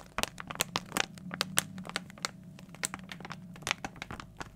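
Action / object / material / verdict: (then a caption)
scrape / plastic foil blind bag / plastic foil / none. A small, glossy plastic foil toy blind bag, hollow with its contents inside, is held up in both hands and crinkled with the fingertips. The result is a rapid, uneven series of sharp, bright crackles and crunches over a faint, steady low hum.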